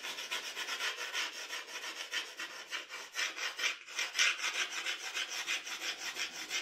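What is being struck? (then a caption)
Drawing paper under a graphite pencil. The graphite tip of a wooden pencil scratches across a flat sheet of drawing paper lying on a dark table while drawing strands of hair. Quick, rhythmic strokes make a steady, bright, raspy scratching with almost no low end. The strokes keep going without a break and get slightly louder near the middle.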